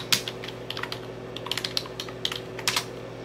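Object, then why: Plastic computer keyboard. Fingertips type and tap on the keys of a dark plastic computer keyboard with an orange Enter key, producing about fourteen quick, bright clicks that stop almost instantly. The clicks come in uneven bursts over a faint, steady low hum.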